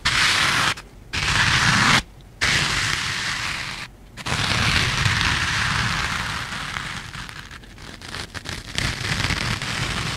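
Two matching small, soft yellow foam kitchen sponges with green abrasive scrub pads are held in both hands close to the mic and squeezed and rubbed with the fingertips. The result is a dense, bright, crackling scrape and rustle, broken by a few brief near-silent pauses early on before continuing steadily to the end.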